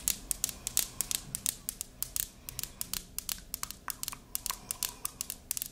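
A white "I Love You a Latte" ceramic candle tumbler, hollow and filled with wax with a pink lid, is held in hand and tapped and scratched with long pink acrylic nails. Around 32 sharp, bright clicks fall at an uneven pace over a faint scratchy hiss, each dying away almost instantly.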